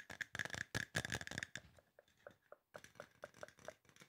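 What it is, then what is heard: Aluminum spray bottle. Fingertips and nails tap fast on a hollow, silver aluminum spray bottle. A dense burst of rapid, sharp taps with a metallic ring near 1.6 kHz fills the first second and a half. Softer, sparser taps with a hollow ping around 500–600 Hz follow after a brief pause, each dying away almost at once.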